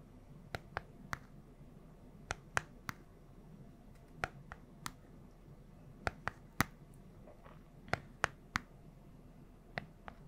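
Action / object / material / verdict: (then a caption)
tap / small plastic remote control / plastic / none. Long nails tap the buttons and casing of a small plastic LED remote control with colored buttons, giving 17 sharp, dry clicks spread unevenly over the clip. Each tap is brief and bright with almost no ring, over a faint low hum.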